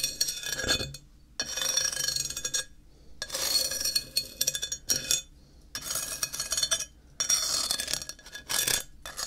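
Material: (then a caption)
Ceramic. A flat, solid grey ceramic tile is held upright and tapped on its edge with a thin wooden stick. The result is quick bursts of bright, dry clicking taps that die away almost instantly, separated by short silent pauses.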